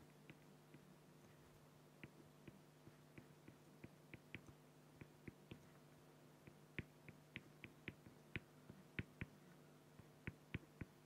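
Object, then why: Acrylic plastic sheet with felt-tip pen. A fine felt-tip pen held in hand makes quick hatching strokes on a flat, clear acrylic plexiglass sheet. About 22 short, sharp scratchy ticks stand out over a steady low hum. Each stroke gives a bright, brief scratch that dies away almost at once.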